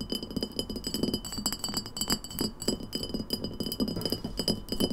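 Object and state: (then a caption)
Glass bottle tapped with fingernails. Long nails tap rapidly on the neck and sides of an empty, hollow, embossed glass lemonade bottle with a paper label, standing on a table. The steady stream of quick, bright glassy clinks decays almost instantly, with faint high ringing tones persisting above the clatter.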